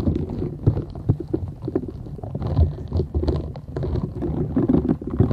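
Long nails scratch the short bristles of a flat, thin, solid purple silicone scrubber sponge held folded in both hands. The result is a dense run of soft, low, rumbling scratches with brief sharper flicks and almost nothing high.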